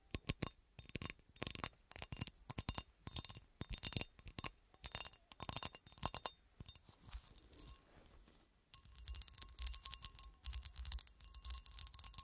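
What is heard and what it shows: A textured cut-glass horseshoe is tapped and scratched, giving bright, high-pitched glass clinks in quick rhythmic bursts. The sound fades to a softer, quieter scratching, then returns as dense, continuous scratching over the glass.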